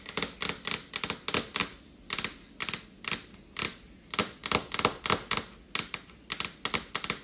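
Long acrylic fingernails fast-tap a large dark stainless steel refrigerator door, a flat panel over the hollow appliance with a paper item stuck near the top. Around 26 quick, bright clicking taps land in rapid bursts, sharp and high-pitched with almost no low end and very short ring.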